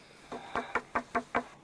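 Six short knocks on a wooden beam, part of a structure buried inside an ice cave on Mount Ararat. Each one is dry and midrange-toned and dies away almost at once. The knocks sound like wood, not rock.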